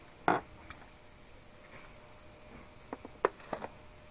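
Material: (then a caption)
Latex rubber. A small red latex balloon, filled and soft, is squeezed between moist hands on a table. It gives five short, quiet rubbery squeaks in the midrange: one near the start, then a cluster of four close together near the end, with long near-silence between.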